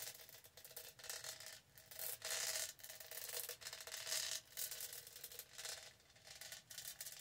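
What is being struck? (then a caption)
Studded plastic tumbler. Long nails rub and scratch the studded sides of a purple studded hollow plastic tumbler. The result is a dry, bright scratchy rasping in uneven bursts that swell and fade, with almost no low end.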